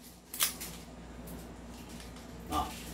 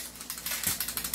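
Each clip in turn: First: Shaking gives only two short, high clicks over quiet room noise, with no rattle: the pistol barrel sits tight. Second: A quick run of dry, high metallic clicks as the pistol is shaken: the outer barrel rattles loose.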